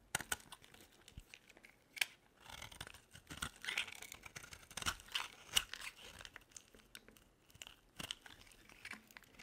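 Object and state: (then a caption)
Dry bar soap being carved. A hand-sized bar of dry soap, blue outside and white inside, is held in one hand while a metal utility-knife blade scrapes and carves curls off it. Dense, bright, crisp scraping and crinkly crunching sounds run throughout in short bursts with little low end. The shavings pile up.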